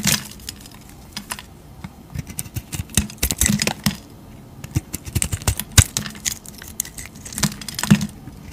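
A utility knife blade shaves and cuts thick curls off a solid rectangular bar of cream-white soap with a purple-dyed edge, held in a hand with long teal nails. Short, dry, crisp scraping and cutting clicks come in irregular bursts with bright highs and a low thud underneath. Each cut stops almost at once.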